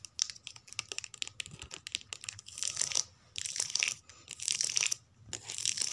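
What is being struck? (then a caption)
Paperback book card spines. Long nails scratch and tap along the card spines of a row of paperback books on a shelf. Quick, crisp ticks and dry scratching strokes come in uneven bursts, almost entirely high and bright with no low body, separated by brief near-silent pauses.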